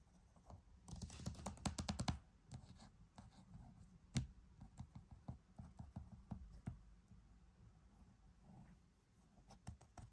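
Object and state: Plastic game case.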